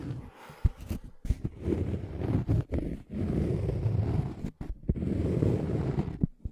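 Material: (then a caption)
Cork. A round, scalloped cork coaster, thin and solid, is held close to the microphone while fingernails scratch across its surface. The result is a low, muffled rasping with soft taps and brief pauses between strokes, mostly deep and dull with almost no bright content.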